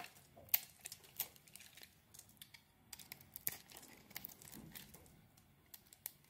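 A metal utility blade carves flakes off a solid Palmolive soap bar with a blue coating and a green interior. It makes a quiet, irregular series of crisp, bright scraping and crackling ticks, each cut dry and very short with no ring.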